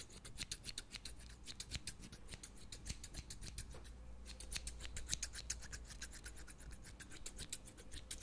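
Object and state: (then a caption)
Steel scissors snipping. Medium-size scissors with steel blades and green plastic handles are held in one hand close to the microphone and snipped open and shut over and over. Their metal edges scrape against each other in a quick, slightly uneven run of short, bright, metallic snips. A steady low hum sits underneath.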